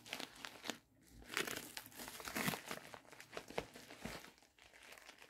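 A medium-size, hollow pink poly bubble mailer envelope is gripped and crinkled with the fingertips, giving a continuous run of bright, crackly plastic crinkles and rustles with sharp short bursts. At the end, the mailer's flap is opened.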